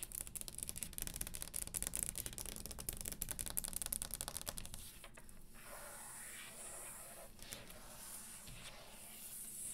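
Long green acrylic nails on both hands tap and sweep-scratch across the top of a round solid wooden table. For the first five seconds there is a dense, fast flurry of sharp, dry clicks over a bright scratchy hiss. Then it drops into quieter, steady sweeping scrapes with a soft, high rasp.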